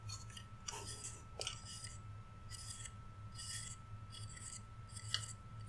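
A flat, painted, solid wooden Rudolph reindeer cutout is held sideways while fingertips and nails rub and scratch along its antler edges. Short bursts of bright, dry scratching and rasping repeat in quick strokes over a steady low hum.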